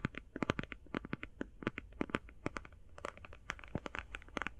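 Long painted fingernails rapidly tap and scratch on a closed, flat, rectangular, hand-sized cardboard eyeshadow palette. The result is a dense run of short, dry clicks and scratchy brushes with papery, crinkly detail and a low, hollow thud underneath. Each tap dies away almost instantly.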